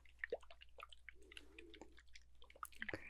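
Water-filled globes, called enchanted water globes, are shaken around the listener, giving soft sloshing, dripping liquid sounds with bright droplet plinks and a brief low gurgle in the middle. The sound is quiet and close, with many small splashes scattered throughout.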